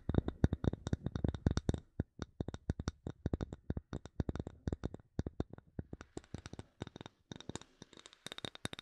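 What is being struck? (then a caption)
Bamboo wood block. Long nails tap and scratch a solid, palm-sized light bamboo wood block. A rapid string of dozens of short, dry clicks with a soft low thump dies away almost instantly, dense at first and then more spaced. Faint scratching fills the gaps, and the taps turn brighter toward the end.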